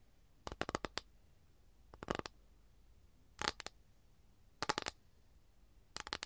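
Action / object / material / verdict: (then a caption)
tap / flat capiz shell tray / capiz shell / none. Long nails tap and scratch on a flat, empty capiz shell tray held up in the air. The result is five short bursts of quick, dry clicks with a bright, scratchy edge, separated by quiet gaps. Each click dies away almost instantly.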